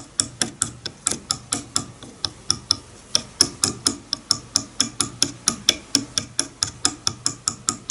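A wide-tooth wooden comb lying on a bamboo board has its teeth plucked with a fingernail, producing a quick, even run of 33 dry, bright clicks. Each click dies away almost instantly, with a faint low body under the sharp high snap.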